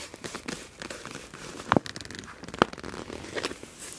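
An iridescent clear PVC pouch with a black palm-leaf print, full of felt-tip markers, is slowly gripped and squeezed with long nails and fingertips. The plastic gives a steady soft crinkling, broken by a few sharper crackling snaps.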